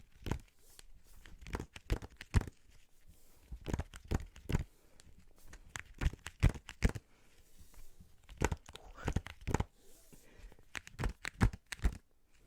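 Fingers tap on the cover of a hardback children's poetry treasury, making quick, dull, low thuds in uneven bursts, some sharper and louder than others. Faint crinkling fills the gaps between the taps.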